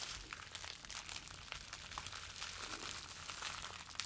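A small bundle of clear plastic bubble wrap is held in both hands, squeezed and rubbed with the fingertips. It gives a steady, quiet, bright crinkling with dense little crackles and brief sharp snaps throughout, and almost no low end.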